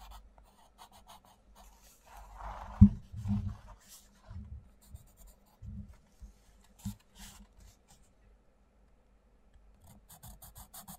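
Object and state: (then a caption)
Coloured pencil on a colouring book page. A wooden coloured pencil scratches and rubs across a mandala page in an open paperback colouring book while colouring. Soft, dry, low-weighted scraping strokes come in short bursts separated by quiet gaps, with one sharper, louder stroke near the three-second mark. A faint bright hiss rides on top of the strokes.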